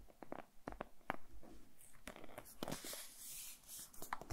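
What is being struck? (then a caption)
Printed cardboard phone box. A small, closed, printed cardboard retail box for a Xiaomi Redmi Note 10S smartphone is held in both hands and tapped and scratched with fingertips and nails. Quiet, dry, close taps click sharply and die away at once, with a soft, bright scratching hiss building between them in the middle of the clip.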